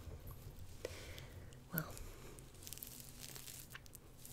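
Long painted fingernails on both hands scratch and rub over the gold sequin lettering of a purple knit hoodie worn on the chest, so the soft fabric gives no hollow tone. The result is a quiet, continuous scratchy crinkling and rasping with a few brief sharper ticks, the strongest coming just before the two-second mark.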